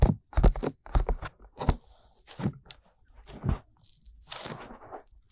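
Fingertips with medium-length painted nails tap and rub the soft silicone ear molds of a 3Dio binaural microphone, a black box body held by both ears in two hands. Clusters of dull, crunchy taps, heavy in low thumping tones, alternate with softer scraping rubs that carry a faint bright hiss. Each tap stops almost at once.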